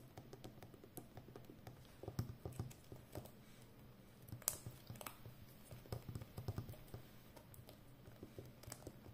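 Long nails tap and scratch the rim of a full roll of brown plastic packing tape on a hollow cardboard core. The quiet, dull taps and dry scratching are mostly low in tone, with a few brighter clicks, and each sound stops almost instantly with no ring.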